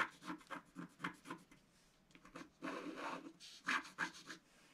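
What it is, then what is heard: Scratch-art paper being scratched. A wooden stylus scratches the coating of a black scratch-art card in a book with short, quick strokes. It makes a quiet, dry, rasping scrape in uneven bursts with bright hiss. A longer, steadier scrape comes near the middle before the short strokes resume.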